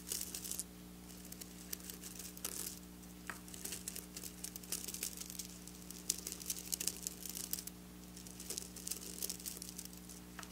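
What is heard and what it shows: Long black nails scratch and flick across flat silver sequin fabric, making bright, crisp crinkling and rapid clicking bursts that come and go in clusters. A steady low hum runs underneath throughout.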